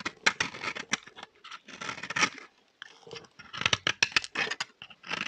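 A solid, dry green bar of soap is held in the hand while a metal blade scrapes shavings off its surface. Short, bright, crackly scrapes come in quick bursts with brief pauses, dry and close with almost no low end or ring.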